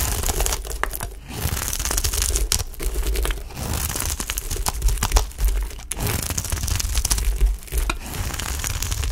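A dry, solid green Dalan olive-oil soap bar, palm-sized and held in the hand, is shaved and scraped with a utility knife blade, peeling soap curls away. The result is a steady, dense crackling and rasping with a heavy low rumble and a bright crinkly edge, broken by brief pauses between strokes.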